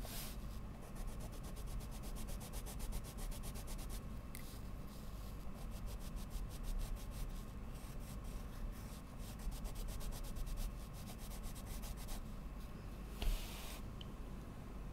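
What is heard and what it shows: A wooden coloured pencil, held in a hand with long nails, rubs and scratches a large sheet of mixed media paper lying flat and solid on a board in short shading strokes. It makes a steady, soft, low-heavy rubbing with fast, rhythmic, faint bright scratches throughout, broken by a brief louder tap near the end.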